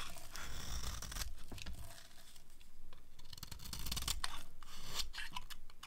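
A metal craft knife blade scrapes along the edge of a solid rectangular bar of dry white soap held in one hand, shaving off crunchy curls that pile up beside it. Repeated dry, crisp scraping and crunching strokes with bright, papery tearing edges sit over a low rumble, each stroke ending quickly.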